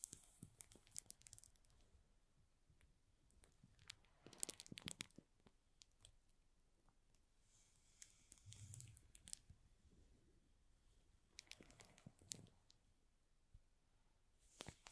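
Fingertips and nails tap and trace over the plastic-wrapped front face of a small, hollow cardboard box (F7 mini) in shrink film. Quiet crinkling and scratchy rustles come in bursts, with bright clicks of nails on the film and soft, hollow low thumps from the box underneath.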